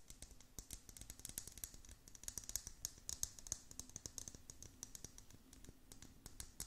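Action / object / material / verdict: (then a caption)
tap / plastic tumbler with bead-filled dome lid / plastic / none. Long nails tap quickly and scratch across the hollow dome lid of a clear plastic tumbler filled with small beads. The result is a quiet, steady stream of sharp, bright clicks with almost no ring, woven through with a dry scratching rustle.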